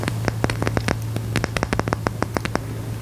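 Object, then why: Rough mineral crystal stone. Fingertips and nails tap and scratch the faceted surface of a large, solid, rough black mineral crystal with green and white specks, held in one hand. About twenty sharp, bright clicks ring out quickly over a steady low hum near 100 Hz.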